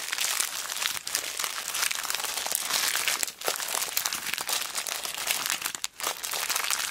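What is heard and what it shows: A small clear plastic zip bag full of beads is squeezed and manipulated by fingers with long black nails. The result is a steady, dense, bright crinkling and crackling with no low end, easing briefly at about 1, 3.4 and 5.9 seconds before resuming.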